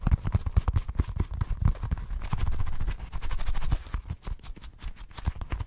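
Short painted nails quickly tap and scratch a small, solid, orange football-shaped squeeze ball of soft rubber or foam. The result is a rapid run of dull, muffled thumps with a low, soft body, overlapping with faint scratchy rustling and no ringing after each hit.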